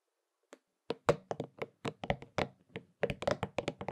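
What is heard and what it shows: A hollow purple and pink soft rubber spiky massage ball, held in both hands, is scratched and tapped on its spikes with the fingertips. A rapid, uneven series of short, dull knocks and taps follows, each with a soft midrange thud, a bright scratchy edge and almost no ring.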